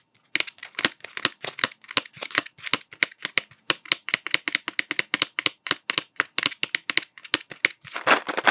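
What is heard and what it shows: Fingertips tap the blue plastic cap of an upright cardboard Smarties tube in a quick, uneven run of short, dry, bright clicks with almost no ring. The taps end in a denser, scratchier flurry.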